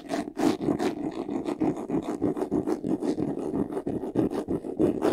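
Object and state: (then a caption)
Faux leather vanity case being scratched. Short nails scratch fast across the front face, near the top, of a medium white vanity case: a hollow box with a handle, covered in textured faux leather. The result is a rapid, uneven run of raspy scratching strokes with a hollow, boxy resonance around 280 Hz. Each stroke dies away quickly.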